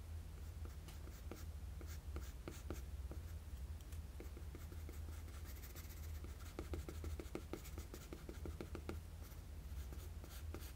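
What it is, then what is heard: Pencil shading on drawing paper. A graphite pencil with a blue end, held in the fingers, shades the chin area of a drawing with short strokes on a flat sheet of drawing paper lying on a table. Quick, dry scratching strokes with bright edges come in uneven bursts over a steady low hum, each stroke ending almost at once.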